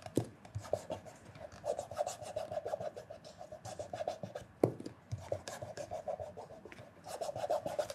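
Cloth-wrapped fingertips rub the surface of a black polished leather loafer with a leather sole and a hollow body, working near the toe and the heel. It makes a quiet, steady run of short rubbing strokes with a faint squeaky tone. A couple of sharper taps stand out near the start and the middle.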